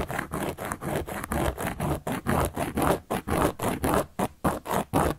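A carving tool is scratched repeatedly across a large, round, solid cork board. It makes a steady series of short, dry, rasping strokes, about two per second, each fading almost instantly. The scratching sits in the low-to-mid range with very little bright top end.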